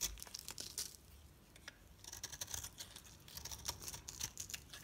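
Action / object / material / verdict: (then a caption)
scrape / hard bar soap cut with a metal knife / soap / none. A solid oval pink-red bar soap held in the hand is scraped and sliced with a metal utility knife blade, shaving off brittle flakes. The sound is a quiet, bright run of dry, crisp scraping crackles with short crunchy bursts, pausing briefly around the middle before resuming.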